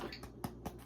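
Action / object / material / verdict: knock / homemade bread loaf / bread / hollow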